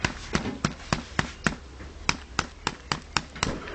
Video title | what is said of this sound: Kenkey (Dokonu) Part 2 | it makes that kind of thumping sound and it's also quite springy